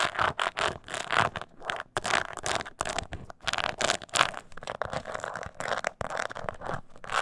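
Long nails scratch the bottom and sides of a small, hollow, croc-embossed leather mini purse. The result is a dense run of quick, dry scratching strokes with a bright, rasping texture and little low end.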